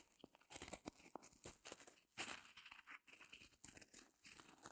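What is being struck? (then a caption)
Open-cell foam block. Long glossy nails scratch and press the surface of a small, solid, white rectangular block of open-cell reticulated foam held in both hands over faux fur. It makes a quiet run of dry, crinkly, crunching scratches in uneven bright bursts with brief pauses, each dying away quickly.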